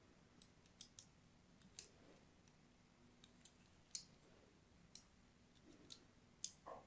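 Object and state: Soap bar scratched with a blade.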